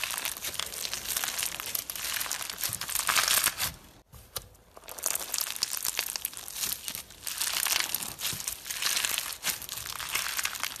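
Clear pink slime packed with plastic fishbowl beads is held in the hands, then stretched, folded and squeezed with the fingers. It gives dense, bright crackling crunches with almost no low end. The crunching is steady but briefly drops away near the four-second mark before picking back up.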